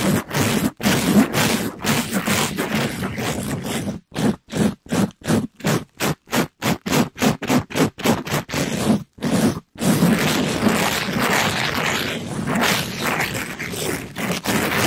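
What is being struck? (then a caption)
Mesh scrub sponge. A gloved hand rubs and brushes a palm-sized, pink glittery mesh-covered scrub sponge against a microphone grille. A dense, rough, broadband scratching gives way to a fast run of separate strokes with short silences between them, then returns to continuous scraping.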